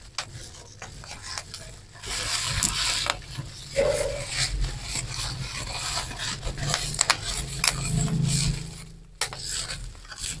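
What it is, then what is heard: Bubble wrap being squeezed and popped. A crumpled mass of clear plastic bubble wrap is squeezed and popped with the thumbs, with some rubbing of the plastic. Bright crinkling and scraping noise comes in bursts, punctuated by short, sharp pops and a steady low rumble underneath.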